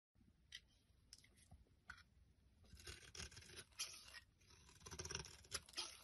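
A thin metal blade scrapes and shaves flakes off a solid rectangular bar of green soap with a ridged surface, held in the hand. Quiet, bright, dry scratching and crisp shaving strokes come in irregular bursts and grow louder and denser partway through, with a faint low rumble underneath.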